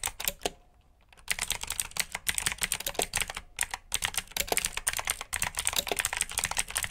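Both hands type with fingertips on a black plastic backlit mechanical keyboard with blue switches. Rapid, bright, clicky keystrokes come in quick bursts, with a brief pause near the start and another midway. The clicks are sharp and short with almost no low end.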